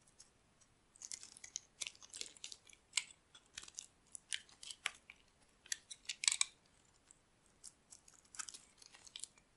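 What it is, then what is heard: Dry soap bar scraped with a blade. A metal blade scrapes brittle flakes off a solid rectangular bar of dry white soap held in the palm. The result is a quiet, irregular series of crisp, bright, crunchy scrapes, short and dry with no ring, and nearly no low end between them.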